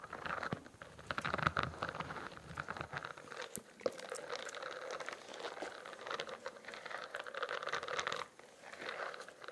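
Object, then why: Spiral notebook with a studded plastic cover. Fingertips and nails tap and scratch the bumpy, studded, iridescent plastic cover of a spiral notebook held upright. The result is a dense, continuous crinkling and crunchy scratching with quick soft taps, mostly in the midrange and a few sharp clicks around the four-second mark. The sound dips quieter briefly near the end before the scratching resumes.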